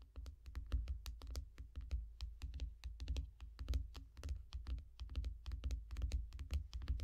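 Long nails on both hands rapidly tap the shiny glass screen of a small tablet lying flat in a yellow foam case. The result is a dense, uneven stream of short, crisp clicks with bright tips over a deep, soft thump, each tap dying away almost at once.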